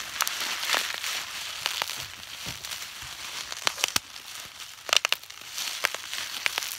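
A clear plastic bubble wrap sheet is held in both hands while fingertips squeeze and pop its air bubbles, crinkling the film. A steady bright crinkling hiss is broken by a scattered series of sharp, dry pops that stop instantly with no ring.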